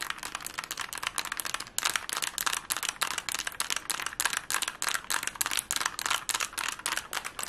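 A plastic Rubik's cube is twisted fast and tapped with fingernails, giving rapid, irregular bursts of dry, bright clicks and rattles centered around 1.6 kHz. Each click cuts off almost instantly with no low-end body, and the clatter continues without pause through the whole clip.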